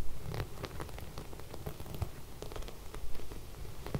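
Long red nails scratch and rub across sequin embroidered fabric laid flat with fairy lights along its edge. The result is a quiet, continuous rustle of soft scratchy clicks with a dull, low-weighted tone.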